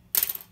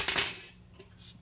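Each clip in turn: First: A small plastic saddle lands with a bright, clicky clatter that dies almost at once, a dead sound. Second: A small brass guitar saddle lands with a bright, high metallic clink that rings briefly.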